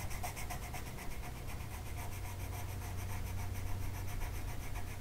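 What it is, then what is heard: Colored pencil on paper. A green colored pencil tip is rubbed back and forth across a flat printed mandala sheet of paper lying on a table and held by one hand. Quick, steady, scratchy strokes repeat at an even pace for the whole clip, with bright papery rasp on each pass over a constant low rumble.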